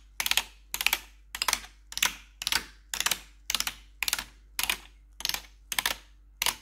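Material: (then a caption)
Plastic. Four metal claw nails tap and scratch across the keys of a black plastic backlit RGB computer keyboard. About a dozen short bursts of bright, crisp clicking and scraping come at a steady pace, each burst fading quickly.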